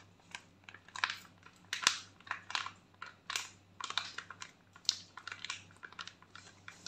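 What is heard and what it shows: Long nails and fingertips crinkle, scratch and rub a flat foil and plastic sachet holding a face sheet mask. Quick, bright crackling bursts arrive in an irregular run, each dying away almost at once, over a faint steady low hum.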